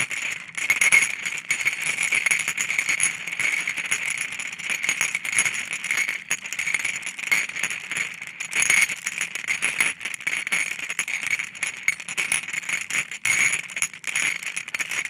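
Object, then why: Glass marbles on a ceramic plate. About fifteen solid coloured glass marbles on a white gold-rimmed ceramic plate are stirred and tapped with a wooden stick, so they clink against each other and the plate. The result is a steady, dense run of bright, short glassy clicks and rattles with a ringing tone near 2.2 kHz and almost no low end.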